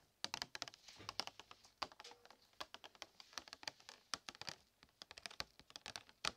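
Packaging of new Christmas decorations is tapped in a quick, irregular run of light taps, each a short, dry, bright click with almost no low end and no ring. The taps come in uneven clusters across the clip, sounding much like fast keyboard typing.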